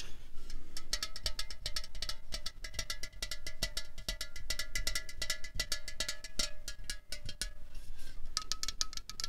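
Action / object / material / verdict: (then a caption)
tap / aluminium drink can / aluminium / none. A slim 0.33 L Coca-Cola Cherry aluminium can, hollow and held in hand, is tapped quickly with long fingernails. The result is a rapid stream of sharp, bright metallic clicks with short ringing tones, over a low rumble.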